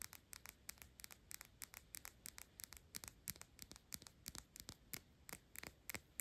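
A clear glass Byredo perfume bottle with a paper label and a black cap is held in the hand and rapidly tapped and scratched with long pink acrylic nails. The result is a quick string of bright, sharp clicks with very little ring, mostly high-pitched, with faint scratchy rubbing between the taps.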